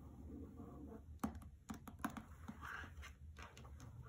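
Long nails tap the cover of a hardcover novel with a paper dust jacket resting on a carpet, then fingers grip and tap its side edges. The sharp, dry clicks are short and irregular, with a soft papery brush between them over a quiet, low background rumble.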